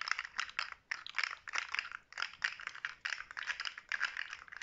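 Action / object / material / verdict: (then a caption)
shake / hollow plastic segmented fidget toy / plastic / none. A handheld rainbow-coloured plastic articulated fidget slug made of hollow plastic segments is flexed and rattled by fingertips with short natural nails, so the segments click against each other. Quick bursts of dry, crisp clicking and rattling come in uneven clusters, bright and midrange with no low end. Each click dies away almost instantly.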